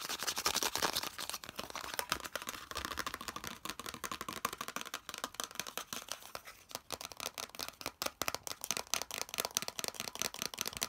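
Fingernails tap and scratch quickly across the flat face of a hollow molded yellow plastic piece. The result is a dense run of sharp, dry clicks and bright, hissy scraping, concentrated in the high range with almost no low end and no ringing.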